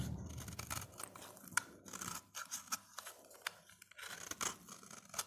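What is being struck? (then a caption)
Soap bar scraped with a metal blade. A utility blade scrapes along the surface of a solid, dry, hand-sized orange soap bar, shaving off thin slices. The result is a series of dry, crisp scraping strokes with bright, crackly texture and short sharp snaps that die away instantly.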